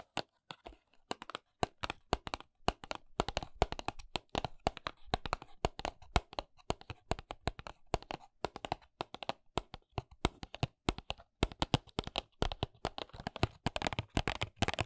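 Long fingernails tap and scratch across the printed back of a small hollow paperboard press-on nail box. Dozens of quick, dry, sharp clicks come in irregular bursts over a soft, continuous scratchy rasp, and each hit dies away almost instantly.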